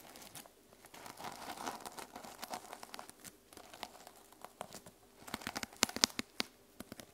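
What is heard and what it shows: Long lilac-painted nails scratch and tap across the teal reversible plastic sequin cover of a small notebook lying on a wooden table. The result is a quiet, bright, crinkly rustle of shifting sequins, broken by sharp, dry clicks that are loudest near the end.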